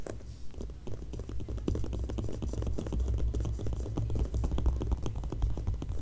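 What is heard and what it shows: Long nails tap and scratch across both glossy paper pages of an open magazine held on the same spread. A steady run of quick, dry clicks and scrapes, with brief bright edges, sits over a constant low hum.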